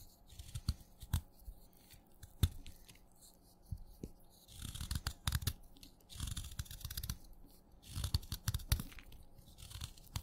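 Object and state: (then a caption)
Wet chalk stick cut with a knife. A craft knife scrapes and cuts chunks off a solid wet blue chalk stick held in the fingers, with crumbs falling away. Sharp clicks and cracks mix with gritty scraping that comes in a few longer bursts of crunchy, bright texture over a low thuddy body.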